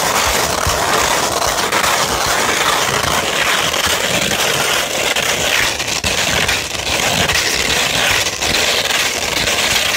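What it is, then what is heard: Sandpaper sheet being scratched. Fingertips and long nails scratch and rub across the surface of a flat sheet of sandpaper. The result is a steady, dense, gritty rasp with a bright, hissy character and little low end. It runs continuously at an even loudness with only brief dips.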